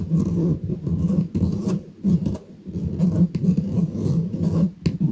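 Fingernails scratch the mesh of a round stainless steel kitchen strainer, its hollow dome held in the hand. The result is a dense, low rasping scrape with a hum-like tone near 184 Hz, coming in uneven bursts separated by brief pauses.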